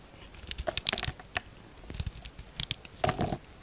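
A yellow utility knife blade carves and scrapes chunky shavings off a solid orange soap bar with a blue outer layer, held in one hand, while soap chips pile up on a wooden table. Short bursts of crisp, bright scraping and crunching come in two clusters with quiet pauses between them, each cut dying away almost instantly.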